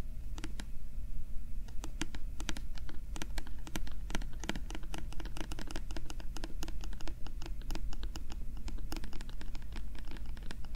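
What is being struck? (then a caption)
Small hollow plastic bottle with a paper label. Fingernails scratch the printed label on a small, translucent, hollow plastic bottle, making a rapid, uneven run of short, sharp, bright scratchy clicks. A steady low hum sits underneath throughout.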